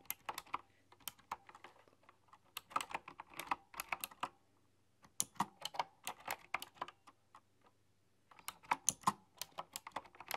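Fingertips and nails type continuously on a typewriter-style mechanical keyboard with round metal-rimmed keys, producing sharp, bright clicks with almost no ring. The typing comes in bursts separated by brief quiet pauses, with a faint low hum underneath.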